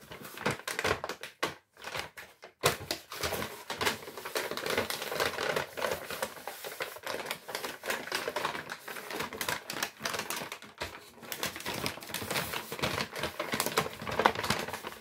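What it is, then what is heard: Kraft paper shopping bag being crumpled. An empty brown Lidl kraft paper shopping bag with handles is held up and crumpled with the fingertips. Dense, dry crinkling and crackling fills the clip with bright, papery texture, pausing briefly near the start and again around the eleven-second mark.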